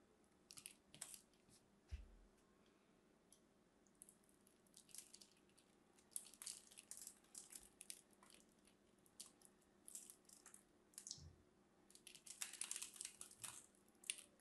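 A craft knife scores a grid into a solid striped lavender bar soap, and cube pieces break off. Quiet, bright scratching and crisp crunching come in irregular bursts, with a few soft low thumps as pieces come loose.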